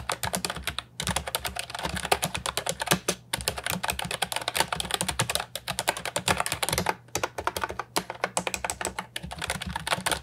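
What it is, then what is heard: Plastic keyboard with round keycaps being typed on. Fingertips type steadily on an Ajazz 308I, a compact hollow plastic keyboard with round retro typewriter-style keycaps. It gives a fast stream of short, bright plastic clicks and clacks with a few brief pauses, and each keystroke stops almost at once.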